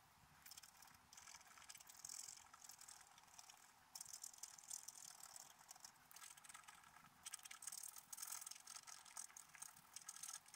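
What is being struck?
Black-coated scratch-art paper scraped with a wooden stylus.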